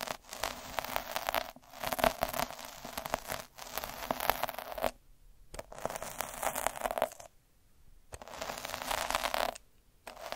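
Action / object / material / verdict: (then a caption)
scrape / felt sheet under a metal needle roller / felt / none. A hand rolls a needle roller with a metal drum over a flat red felt sheet, scratching the fibres. Dense, crackly, bright scratching comes in repeated passes separated by brief pauses, with the sixth pass cut off at the end.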